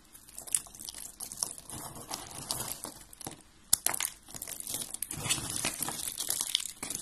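A pile of dry, brittle white and blue soap curls and flakes on a gold glitter surface is crushed and crumbled between fingertips with long red-painted nails. The result is a dense, bright crunching and crinkling with many quick, sharp snaps, the loudest cracks landing near the half-second mark and just before four seconds.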